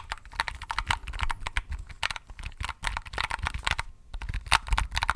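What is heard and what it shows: Fingertips and pink-painted nails click and tap the round white keycaps of a small pink-and-white plastic keypad with a hollow housing, held in both hands close to the microphone. Rapid, irregular clacks come in quick bursts, each a short, dry click with a hollow low thump under a bright plastic snap that dies almost instantly.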